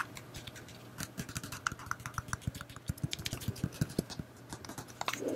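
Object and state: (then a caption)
Plastic battery pack. A black, phone-sized solid plastic battery pack is held in one hand and tapped with long painted nails. Quick, irregular clicking taps sound dry and short, with a low knock under each bright nail tick.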